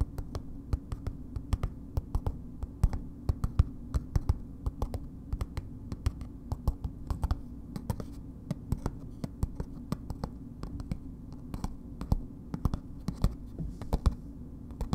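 Long acrylic nails tap rapidly and steadily on a hand-sized solid bar of soap in a red paper wrapper, held in one hand. Each tap is a short, dry click that dies away almost instantly, over a steady low hum. The taps come in uneven bursts throughout.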